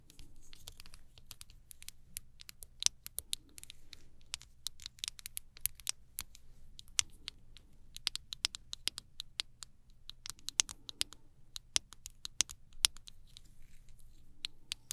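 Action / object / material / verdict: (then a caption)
tap / small plastic jar / plastic / none. A tiny travel ointment jar, with a white plastic base and a dark blue plastic lid and filled with ointment, is tapped all around with long nails. The taps land as a steady, uneven patter of short, bright, clicky ticks that stop almost instantly, over a faint low hum.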